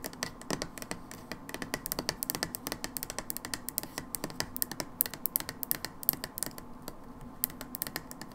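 Long nails tap rapidly on the back label of a brown plastic hydrogen peroxide bottle. The result is dozens of quick, dry, bright clicks with no ring, in a steady uneven patter.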